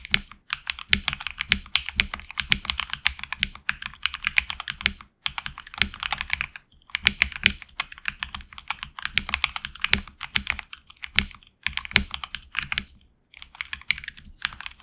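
Fingertips type continuously on a HyperX Alloy Origins Core tenkeyless mechanical keyboard with HX Red switches and PBT plastic keycaps, mounted on an aluminum plate in a hollow case. It makes a rapid stream of short, bright clacks with little low end, and brief pauses near 5, 6.6 and 13.3 seconds.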